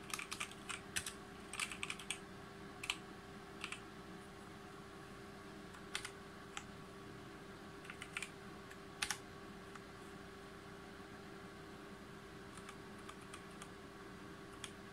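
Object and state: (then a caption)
Mechanical keyboard typing. Fingertips of both hands type on a full-size G513 Carbon mechanical keyboard with GX Brown switches, plastic keycaps on a brushed aluminum plate, while its lighting changes. Bright, short clicks and clacks come in quick bursts early on, then grow sparser over a steady low hum.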